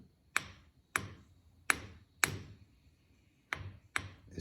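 An abrasive grinding wheel with a visible crack, from being dropped on the floor, is ring-tested with six separate taps. Each tap gives a short, dull thud that dies almost instantly instead of a sustained ring. The cracked wheel fails the ring test.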